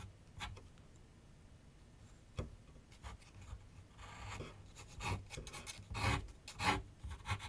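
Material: Paper.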